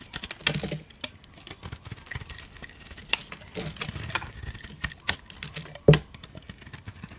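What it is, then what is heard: Bar soap being shaved. A solid cream bar soap held in the hand is shaved with a blade, making a dry, crisp patter of short scraping strokes. Soft low scuffs mix with bright, brittle flicks, and a few sharper cuts stand out, the loudest near the end.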